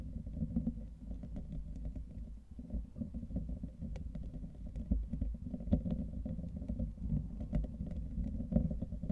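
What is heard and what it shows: Fingertips of both hands continuously scratch and rub the hollow, fist-sized metal wire-mesh grille of a microphone. The result is a steady, deep, boomy rumble concentrated in the low end, scattered with faint, quick scratchy ticks that briefly spike louder.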